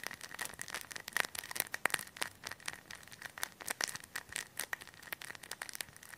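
A hand-sized, clear thin plastic bag full of white polyester stuffing is pressed, patted and crinkled with fingertips near the mic. The result is a dense, bright stream of crisp crackles and quick sharp clicks over a faint steady tone near 1.9 kHz, with almost no low end.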